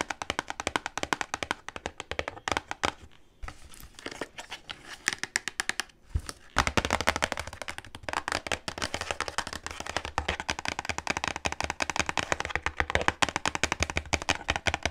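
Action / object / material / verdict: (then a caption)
tap / cardboard box / cardboard / none. A long, hollow, light white cardboard product box with a clear window showing a small white item inside is held in the hands and tapped and scratched with long pink acrylic nails. Rapid, dry, bright clicks rattle off the cardboard in dense bursts, with a softer scratchy stretch around three to four seconds. After a brief pause near six seconds, the quick, tight tapping resumes to the end.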